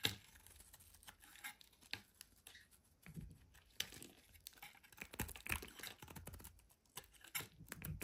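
A solid orange oval bar of soap, held in the hand, is shaved into curls with a metal utility knife blade. The quiet clip is made up of crisp, bright scraping and tearing sounds in irregular bursts, with short cuts and soft crinkling between them.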